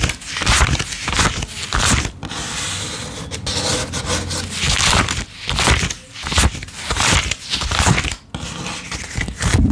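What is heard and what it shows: A handful of US $10 paper bills is held in the left hand while fingertips pull the bills off one at a time and lay them on a pile, counting and rubbing the paper. Dry crinkling and scraping paper rustles come in uneven bursts, with bright, papery edges over a soft low rumble, and the pile grows bill by bill.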